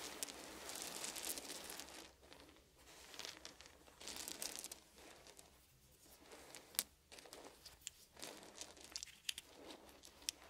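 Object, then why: Small wooden beads on fabric. Fingertips rake and gather a pile of small, solid wooden beads on a blanket. The result is soft, bright, crinkly rattling that comes in swells of dense clicking, broken by quieter pauses and a few sharper individual clicks.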